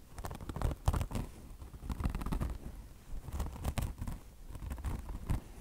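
Long blue nails on both hands scratch a beige mesh fabric chenille car wash sponge, its mesh top stretched over foam. Deep, muffled scratching rumbles in quick, uneven bursts, with occasional brief bright scrapes cutting through the low thudding texture.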